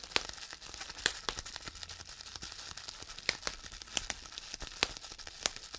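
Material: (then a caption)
Plastic. Fingertips of both hands pinch and squeeze the air-filled bubbles on a large sheet of clear plastic bubble wrap to pop them. Sharp, bright snaps ring out at irregular intervals over a steady, quiet crinkling of the plastic. Each pop cuts off almost instantly, with very little low end.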